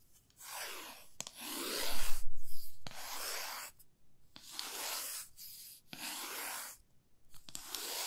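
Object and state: Wooden ruler scratched with fingernails.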